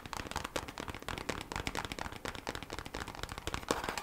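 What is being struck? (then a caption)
Thin kraft cardboard packaging sleeve. Long black acrylic nails tap quickly on a thin kraft cardboard packaging sleeve for beeswax wraps, lying flat and slightly bent. The result is a rapid, continuous run of short, dry clicks with a papery tone and bright upper edges, each tap dying away almost at once.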